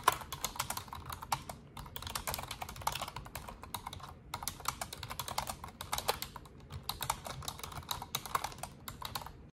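An Asus desktop keyboard with black plastic keycaps and a silver frame is typed on with long orange nails and fingertips in continuous key presses. The result is a dense, steady stream of short, bright plastic clicks and taps with brief pauses between bursts.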